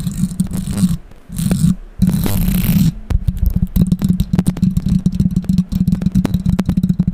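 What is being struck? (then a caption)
Metal mesh microphone grille. Long pink acrylic nails scratch and tap the hollow metal mesh grille of a bare condenser microphone with no foam cover, held up close. Bursts of bright, hissy scratching and rubbing come first, over a steady low hum. They give way to a rapid run of sharp, dry taps that stop almost instantly.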